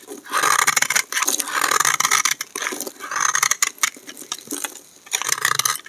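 A hand-sized solid bar of dry green soap is held in the hand and shaved with a utility knife blade, and the flakes pile up. Bursts of bright, crisp scraping come in waves, with rapid dry crackles between short pauses.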